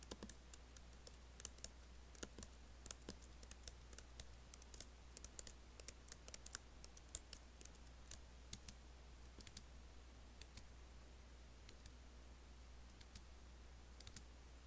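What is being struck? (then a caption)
Laptop keyboard, plastic keys in aluminium body. Fingertips and long nails lightly type and tap on an Apple laptop keyboard with black plastic keys set in a silver aluminium body. Quick, sharp, bright clicks come in irregular bursts and die away almost instantly. They sit over a quiet, steady low hum.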